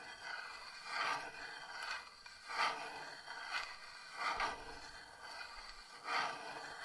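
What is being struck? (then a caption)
Thin carved wooden box lid. Long painted nails tap on the raised, thin carved wooden lid of a small wooden box that stands open, filled with moss and dried rosebuds. The taps are bright, dry and scratchy, centered in the midrange with almost no low end. They come at an uneven pace and fade quickly into a soft background hiss.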